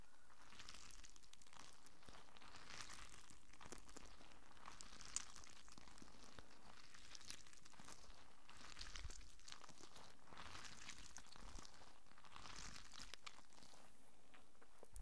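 A small squishy stress ball, with a soft translucent rubber skin filled with colorful water beads and wrapped in mesh, is held in one hand close to the microphone and squeezed and rubbed with the fingers. This makes quiet, steady crinkling and squishing rustles that swell in waves of bright hiss, with a few slightly sharper crackles mixed in.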